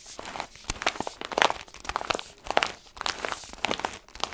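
A tall, foil-lined orange paper coffee bag with a blue stripe, apparently full of beans, is held upright in both hands and squeezed and scratched with the fingertips. It makes a steady run of dry, bright crinkles and crackles. Short, sharp bursts come out of the rustling, with almost no low end.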